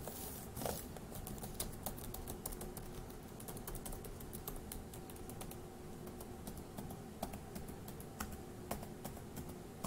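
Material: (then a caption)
Plastic. Fingertips of one hand tap the plastic keys of a dark grey laptop keyboard in steady typing, producing a continuous stream of quiet, sharp clicks with brief bright transients. The clicks sit over a steady low background rumble and a faint hum, with occasional slightly louder keystrokes standing out.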